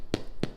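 Two knocks on a loaf of Dutch oven bread just out of the oven give short, dull, hollow thuds that die away almost instantly. The hollow sound shows the bread is good and baked through.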